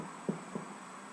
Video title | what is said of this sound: 18 whole wheat IRISH SODA BREAD | i think it sounds hollow enough